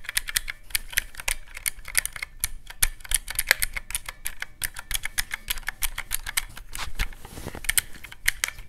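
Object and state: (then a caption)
Plastic mechanical-key calculator. Fingertips press the round black mechanical keys of a teal plastic calculator in a quick, steady stream of sharp, bright clicks. Each click stops almost instantly, with a crisp snap centered around 1.7 kHz over a soft low thump, and the pace continues evenly for about nine seconds.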